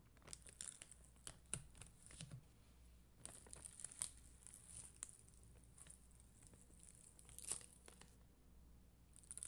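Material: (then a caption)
Acrylic. A plastic spoolie brush, held by a hand with long green nails, scratches across an acrylic rhinestone sticker sheet with red and clear acrylic gems on a white backing. The result is a quiet series of dry, crinkly bristle scratches with bright, hissy highs and a few sharper clicks, over a steady low hum.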